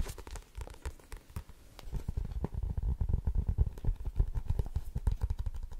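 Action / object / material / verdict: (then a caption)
tap / paperback book with card cover / card, paper / none. Long fingernails on both hands tap quickly across the front of a blue paperback book with a card cover. The result is a dense, uneven patter of short, dry taps with a low, papery thud and faint crinkly texture. The tapping grows louder and busier after the first two seconds.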